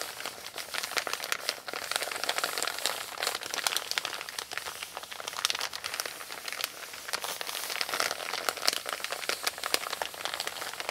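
Fingertips with long pink nails rub and scratch across a flat, empty, wrinkled brown kraft paper Amazon mailer bag resting on a wooden table. The result is a steady, dense stream of dry crinkling and scratchy crackles, bright and hissy with almost no low end. Sharper rasps pop out throughout the 11 seconds.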